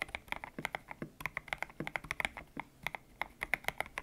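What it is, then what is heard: Mechanical keyboard with PBT keycaps. Fingertips type on a white-cased mechanical keyboard with grey and pink PBT plastic keycaps, its hollow case resting on a desk mat. A steady run of quick, bright key clacks rings around 2 kHz with a soft low thock on some strokes. Each keystroke dies away almost at once.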